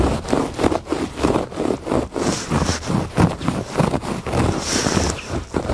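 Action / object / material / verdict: scrape / thick woven fabric rug / woven fabric / none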